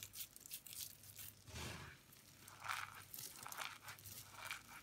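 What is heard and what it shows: Fingertips with long pink nails rub and scoop a bowl of dry white, orange and yellow shaved soap flakes, then crush and squeeze handfuls between both palms. Soft, bright crinkling and crunching comes in uneven bursts, with a few louder squeezes standing out.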